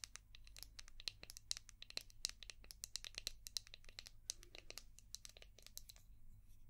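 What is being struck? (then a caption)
Hard plastic shell-shaped brush. Long painted nails rapidly tap and scratch a palm-sized, translucent orange hard plastic brush shaped like a seashell, with a ridged back. Dozens of quick, dry, bright clicks and crinkly scratches sound at a quiet level, each dying away almost instantly, over a faint steady low hum.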